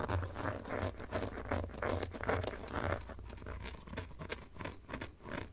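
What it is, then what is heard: Plastic phone case. Fingertips and nails scratch and tap the textured inner back panel of an empty black plastic phone case held in both hands. The result is a quiet, dry, crunchy scratching with soft irregular taps, mostly low in tone with short, quickly fading hits.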